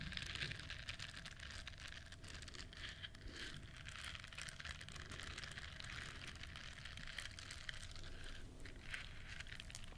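Long nails scratch and rub the bristles of a hand-sized, solid, flexible yellow silicone duck-shaped bristle scrubber held close to the microphone. A steady, dense crackling and scraping texture runs throughout, bright and crinkly on top over a soft low rumble, at a quiet, even level.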